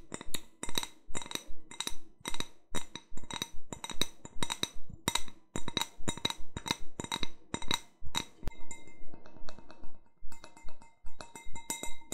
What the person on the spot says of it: 02:51 Tapping my sugar skull wine glass